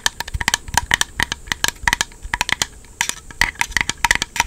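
Fingernails scratch and tap the flat face of a small, black, hollow, empty hard-plastic Joy-Con charging grip held close to the mic. A rapid, uneven run of sharp, bright plastic clicks and scrapes is heard, with a hollow tone near 1 and 2 kHz, little low end, and almost no ring after each hit.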